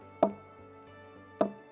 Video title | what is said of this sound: Jamaica Magazine 07/08/2020 | when you knock it like this with a stone it gives you a sound